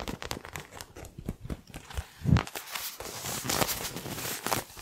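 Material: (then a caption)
Faux leather. Long nails tap and scratch the surface of a small, hand-sized, colorfully printed faux leather toy ball that seems to be stuffed. Soft, dull taps and crinkly scratches build to a louder thump midway, then give way to a steadier, brighter scratching that fades back to light taps.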